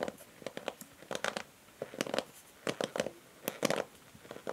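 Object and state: Plastic paddle hair brush.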